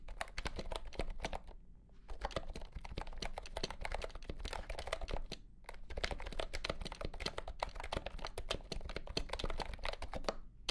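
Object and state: Plastic keyboard being typed on.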